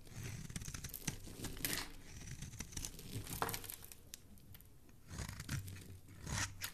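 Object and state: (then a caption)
Bar soap being carved. A metal blade carves and scrapes flakes off the face of a solid blue oval bar of soap held in the hand. The clip is a steady run of crisp, dry scraping and crunchy crackling, with brighter bursts around the middle and again near the end as the flakes come away.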